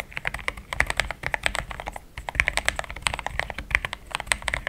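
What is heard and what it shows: A pink-framed compact mechanical keyboard with thick cream XDA plastic keycaps, a polycarbonate plate, linear switches and a hollow case is typed on with fingertips in steady taps. The result is a fast run of short, bright, clacky keystrokes centered around 2.3 kHz, each dying away almost instantly, with a brief pause near the two-second mark.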